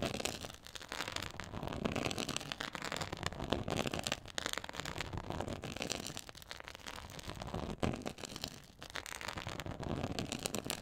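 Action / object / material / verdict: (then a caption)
scrape / quilted faux leather board scratched with nails / faux leather / none. Long acrylic nails scratch across a flat black quilted faux leather board with a raised diamond/pyramid texture. The result is dense, continuous crackling and rasping, spread evenly from low to bright high tones, with sharp clicks and a few brief lulls along the way.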